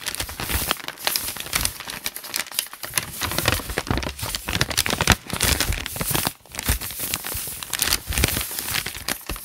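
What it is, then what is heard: Paper notebook pages crinkled. Fingertips rub, scratch and crinkle the loose, wrinkled handwritten lined pages of a thick open notebook. The result is a dense, continuous stream of bright, dry crackling and rustling with many quick, sharp snaps. It pauses briefly near the six-second mark before resuming.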